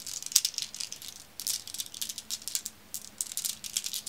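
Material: Glass.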